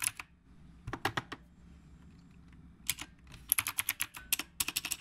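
Fingertips of both hands type on a retro typewriter-style mechanical keyboard with round plastic keycaps. Bursts of sharp, bright clicks come in short runs with quiet gaps between them, and the pace quickens toward the end. Each click is dry and stops instantly.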